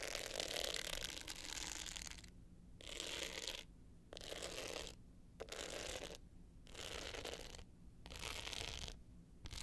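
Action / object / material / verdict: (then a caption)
scrape / hard-shell clutch with glitter surface and metal frame / glitter / none. Long pointed nails scratch the dark blue glitter face of a small rectangular hollow hard-case clutch with a gold metal frame, held tilted up. Dry, bright, gritty rasping comes in steady bursts separated by short quiet pauses.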